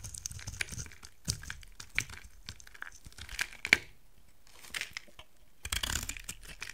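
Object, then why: Soap bar scraped with a knife blade. A utility knife blade carves and scrapes a solid, hand-sized rectangular bar of dry white soap, knocking off dry chunks. Bright, crisp scraping and crumbly crackling run throughout, punctuated by sharp snapping cracks as pieces break away, with brief quiet pauses between strokes.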